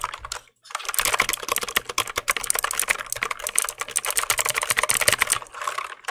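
A compact black plastic mechanical keyboard is held in both hands near the mic while fingertips click its keys. After a brief silence near the start, a fast run of bright, sharp clicks follows, each dying away almost instantly and overlapping into a dense, crackling patter.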